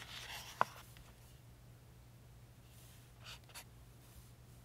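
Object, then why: Paperback book paper pages. A pink chisel-tip highlighter rubs and scratches across the thin printed pages of an open softcover paperback book lying on a table, marking words and drawing boxes. A soft, hissy rubbing stroke opens the clip and ends in one sharp little tick, then after a quiet stretch two fainter scratchy strokes follow. A steady low hum sits underneath throughout.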